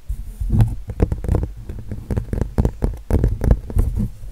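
Fingernails scratch and rub across the textured acrylic paint of a painted giraffe canvas. The result is a string of irregular, muffled scraping bursts that are dense and heavy in the low end, with little high brightness.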